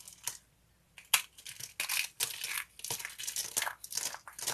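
A stack of thin, ridged sheets of dry green soap is squeezed and crumpled in fists, giving dry, bright crackling and crunching in quick bursts. After a brief quiet pause, a sharp snap leads into denser, continuous crinkling and crushing with almost no low end.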